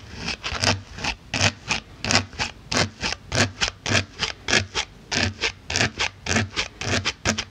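A pink-handled needle tool pokes and scratches the top surface of a solid white polyethylene foam block. It makes 26 short, bright, scratchy squeaks in an uneven rhythm, each with a faint low thump and almost no ring.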